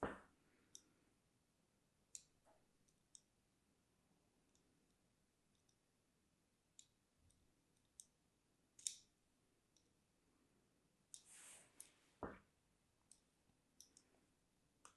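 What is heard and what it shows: A thin blade, held in a hand with long red-painted nails, scores lines into a palm-sized solid bar of pink-and-white striped soap held over a tray of similar bars. Quiet, bright, short clicks and scratches are heard, about eleven spread across the clip, with one longer rasping cut partway through. Each sound dies away almost at once.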